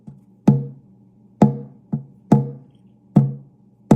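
Taps on the cedar soundboard of an oud, just thinned from about 3.8 mm, give six woody knocks at an uneven pace. Each knock carries a low tone near 140 Hz with brief overtones, which shows the top now rings.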